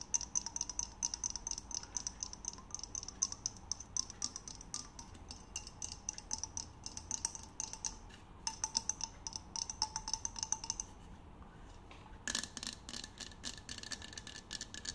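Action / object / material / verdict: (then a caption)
tap / insulated metal water bottle / metal / none. Fingertips and nails tap and scratch the curved body of a hand-held, glossy red, insulated hollow metal water bottle with a silver cap. Dozens of quick, light clicks and taps come with a faint ringing tone and bright, high overtones. After a brief quiet patch near 11 seconds, the tapping resumes with a slightly different tone.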